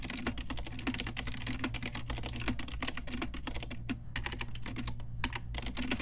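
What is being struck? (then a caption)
Plastic mechanical keyboard with round keycaps. An Ajazz pink retro typewriter-style mechanical keyboard with round plastic keycaps is typed on with long nails and fingertips. The result is a fast, steady stream of bright, crisp plastic clicks with very short decay, over a constant low hum.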